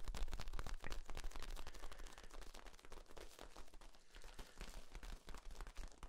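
A long, hollow, ribbed yellow corrugated plastic tube is held across the chest while hands squeeze and rub along its flexible ribs. The result is a dense, rapid run of crisp clicks and crackles over a low rumble, staying fairly steady and quiet, easing slightly after the first second.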